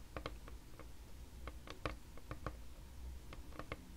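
Long red nails tap rapidly on a flat, solid, pale wood or wood-laminate tabletop, making a series of short, dry, sharp clicks with almost no ring. The clicks sit over a steady low hum.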